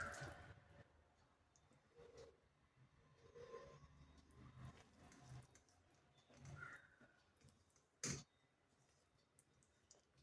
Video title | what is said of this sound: Til Chikki / Til Barfi 😍 - Healthy Sugar Free Recipe - Easy Winter Special Sweet#trending #food | असा गुळाचा कडक आवाज येतोय तुटलेला